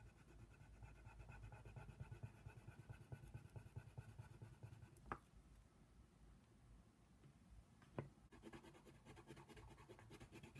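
A wooden colored pencil scratches over a thin paper coloring book page resting on a table, shading around a giraffe's face. Soft, steady scratchy strokes continue throughout, broken by two sharper clicks, with the strokes turning quicker and more rhythmic near the end.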